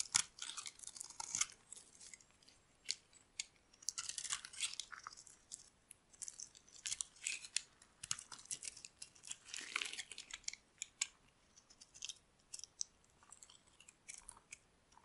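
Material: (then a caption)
Soap. A metal blade shaves and scrapes curls off a solid oval bar of dry pink soap held in the palm. The result is a quiet run of many short, dry, crunchy scrapes, bright and crisp with almost no low end, separated by brief pauses.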